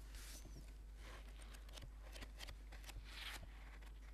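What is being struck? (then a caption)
Paperback book cover. A thick paperback book with an orange cover lies flat on a table while the cover is tapped and scratched with the fingertips and short nails of both hands. Quiet, soft taps mix with bright, dry scratching bursts over a steady low hum.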